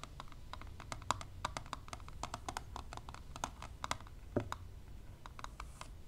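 Long nails and tweezers tap fast on the clear plastic lid of a closed plastic eyelash extension palette. The taps are short, dry clicks in a quick, uneven stream with a hollow tone around 1 kHz and no ring. A faint low rumble sits underneath.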